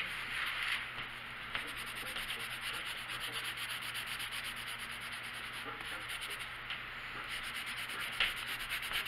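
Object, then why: Colored pencil on a paper page over a wooden table. A pink colored pencil is rubbed back and forth in coloring strokes across a large printed paper coloring book page lying flat on a wooden table, with the other hand resting on the page. A steady, bright, papery scratching continues throughout the clip, mostly in the high range, with a few slightly louder strokes standing out.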